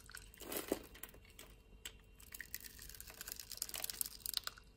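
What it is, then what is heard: Bar soap being cut. A solid green bar of soap held in the hand is grid-cut and shaved with a metal utility knife blade. Soft, crisp scraping and a run of quick, dry crunching ticks are heard, bright and close. A louder slicing swell comes early, followed by a busier patter of small cuts toward the end.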